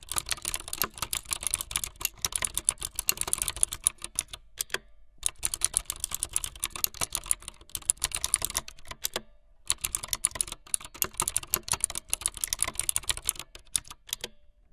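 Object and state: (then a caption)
Plastic mechanical keyboard being typed on. Fingertips with long light-blue nails type fast on a full-size plastic mechanical keyboard with white, blue and yellow plastic keycaps and a blue backlit frame. Rapid, bright, clacky keystrokes come in three dense bursts, with short pauses near five and nine seconds. Each click is crisp and dies away almost instantly, with little low end.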